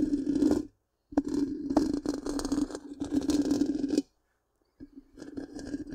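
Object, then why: Metal mesh microphone grille. Long pink-painted nails scratch the hollow black round metal mesh grille of a large microphone, producing three bursts of dense, raspy scraping over a steady low hum near 300 Hz. The bursts are separated by short silences, and the last one is quieter than the first two.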